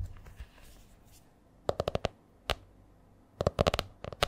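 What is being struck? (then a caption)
Spiral notebook with laminated hard cover. Long nails tap the front cover of a purple A4-size spiral notebook with a stiff laminated cover. A quick run of crisp, dry clicks is followed by a single tap, a pause, then a denser flurry of taps in an uneven rhythm. Each tap has a mid-pitched knock and a bright edge, dies away almost instantly, and sits over a quiet background.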